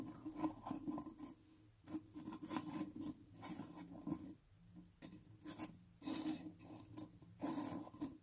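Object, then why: Small filled biscuits in a box. A pile of small, solid, star-shaped baked crunchy filled biscuits lying on a green surface is rubbed, scratched and shuffled with fingertips. Dry, scratchy rustling and scraping comes in uneven bursts with brief quiet pauses, mostly in the low midrange with a few brighter crackles. The texture is crisp and crunchy.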